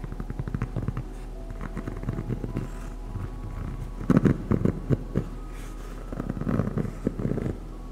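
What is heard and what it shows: A single black EVA foam slide sandal with a hollow footbed shape is held close and tapped and scratched with long acrylic nails. Soft, dull, low hollow thuds and muffled scratching patter along steadily, with louder clusters of taps near the middle and again toward the end. The sound is muted with almost no bright content, and each tap stops instantly.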